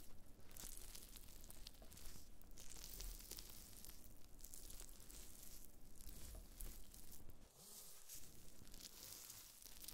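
Black-gloved fingertips press and scratch thin, brittle, brown flakes of dried black fungus (wood ear mushroom) on a white cutting board. The result is a dense, continuous crackling and tearing sound with bright, crisp crinkles over a low rumble. There is a brief quieter dip near the end.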